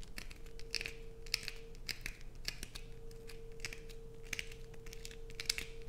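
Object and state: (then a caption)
Bar soap being scratched. Long nails scratch a solid blue bar of soap with holes and grooves, held in the hands, producing quick, bright, dry rasps and crinkly scrapes in rapid bursts. A faint steady hum sits underneath throughout.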